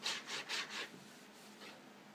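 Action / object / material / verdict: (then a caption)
scrape / cardboard cracker box / cardboard / none. Fingertips and nails rub and scratch the front panel of a hollow, printed cardboard Vegetable Thins crackers box filled with crackers. Four quick, bright, hissy scraping strokes come in the first second, followed by quieter faint rubbing with one soft stroke near the end. The sound is dry, high and papery, with almost no low end.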